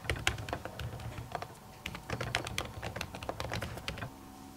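Long natural nails type on the plastic keys of an aluminium laptop keyboard covered by a printed silicone skin. The result is a quick run of soft, muffled clicks with bright ticks from the nails over a low thump. The typing stops shortly before the end, leaving a faint steady hum.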